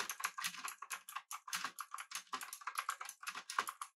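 Both hands type rapidly with their fingertips on a pink-backlit, full-size, typewriter-style mechanical keyboard with an aluminum body and round plastic keycaps, resting on a desk beside an idle mouse. A quick, steady stream of short, crisp clacks centers around 1 kHz with bright upper clatter and almost no low end, each keystroke dying away almost instantly.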